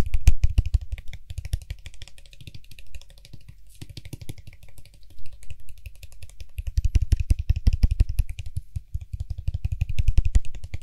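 Fingertips tap quickly on the top and sides of the white hollow plastic cap of a Lysol aerosol spray can. The result is a fast, uneven flurry of soft, hollow plastic taps with a low, dull body and short ring. The tapping is loud at the start, quieter through the middle, and builds to dense, louder bursts toward the end.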